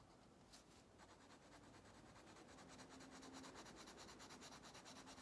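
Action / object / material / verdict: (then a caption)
scrape / wax crayon rubbing on a paper coloring book page / paper / none. An orange wax crayon held in the fingers rubs vigorously back and forth over an open paper coloring book page lying flat on a table, coloring in the fish. Quiet, bright, scratchy rubbing strokes form a steady rhythm that grows slightly louder and more distinct toward the end.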